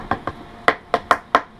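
Six taps on the treated cardboard cone of a stock factory 5x7 rear deck speaker from a Ford Mustang, each a short, dry knock centered in the midrange. The cone sounds hollow and crappy.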